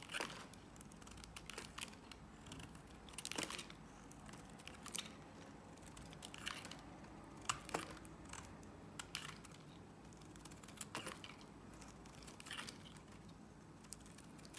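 A solid green Nivea soap bar is held in the hand while a box-cutter blade scrapes and cuts shavings off along its edge. Quiet, dry, crisp scraping and crackling comes in short bright clicks and brief rasps at irregular intervals, with a few sharper snaps standing out. A soft low background hum lies underneath.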